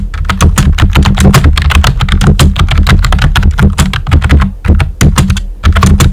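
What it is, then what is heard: Plastic computer keyboard. Fingertips with short nails type quickly on a full-size, hollow pink plastic computer keyboard with round white typewriter-style plastic keycaps. The result is a dense, steady stream of clacky key taps with a deep, hollow low thump under each stroke and a few brief pauses.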